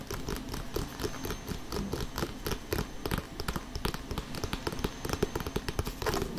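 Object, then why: Inflated synthetic leather soccer ball. Short painted fingernails of both hands tap rapidly on the synthetic leather panels of an inflated, hollow Adidas Street Glider soccer ball, recorded close up. The dense, uneven patter of quick taps mixes dull, low, hollow thuds with crisp clicks that die away almost instantly.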